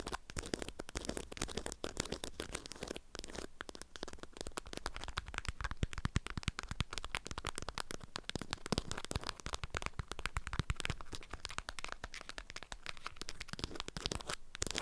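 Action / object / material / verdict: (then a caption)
scrape / waxed cotton food wrap around a package / waxed fabric / none. Long nails scratch and tap the stiff waxed surface of a package wrapped in an orange-print beeswax fabric food wrap. The result is a dense, continuous stream of dry crinkling, crackling scratches and quick taps, spread from low thuds up to bright, papery highs, at a steady, quiet level throughout.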